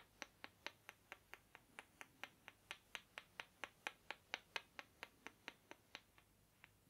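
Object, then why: Small wooden blocks. Two small rectangular wooden blocks, held in the fingertips in front of the chest and then moved near the ear, are rubbed and clacked together. The result is a steady run of 27 quiet, sharp, bright clicks, about two per second, each dying away almost instantly.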